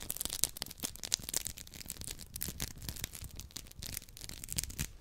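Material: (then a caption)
Polymer foam. Two identical hand-sized, round yellow textured polymer scrub sponges with smiley-face holes are held in both hands and rubbed and squeezed against each other close to the mic. The result is a dense, bright, scratchy rasping made of rapid crackling bursts, with soft low thumps underneath and no ringing after each burst.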